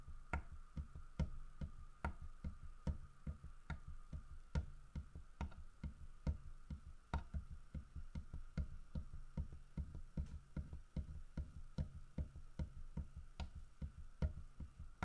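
Fingertips and nails tap on the carved side and back of a large, solid carved wooden bear figurine. The taps come quickly and somewhat unevenly, each one a short, dry, low knock with a bright click on top that dies away almost at once. A faint steady hum sits underneath throughout.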